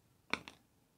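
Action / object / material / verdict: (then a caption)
drop / plastic ID card / plastic / fake. A fake plastic driver's license card is dropped so its edge strikes a surface, giving two short, bright clicks that fade almost at once. The sound is dull and not crisp, which marks the card as fake.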